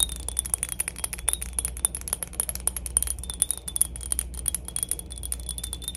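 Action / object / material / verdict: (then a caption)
tap / glass cologne bottle / glass / none. A glass PacSun cologne bottle is tapped for ASMR, giving rapid, bright clinking taps with a high ringing tone over a low steady hum. The taps come quickly and unevenly, too dense to count cleanly.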